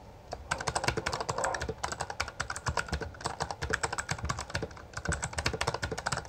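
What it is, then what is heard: Plastic mechanical keyboard. Both hands type continuously with their fingertips on a full-size black plastic Bloody B820R mechanical gaming keyboard with backlit keycaps and a hollow housing. Rapid, uneven clacks of pressed and struck keys run in dense bursts, each click short and bright with a hollow plastic rattle and a faint low thump as the keys bottom out.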